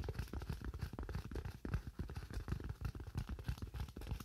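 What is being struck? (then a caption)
Thin styrofoam sheet. A thin white styrofoam sheet, held in one or both hands, is tapped rapidly with fingernails. The dull, hollow clicks are dense and irregular, with a low, thumpy body and almost no high-end sparkle. Each tap dies away almost instantly.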